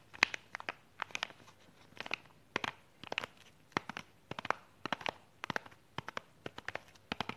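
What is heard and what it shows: A small, flat, clear plastic box holding false eyelashes, sealed in a crinkly cellophane sleeve, is held in both hands and tapped and scratched with long pink nails. Quick, sharp, bright clicks come in uneven bursts, with crinkling rustle between them and almost no low end. Each tap dies away instantly.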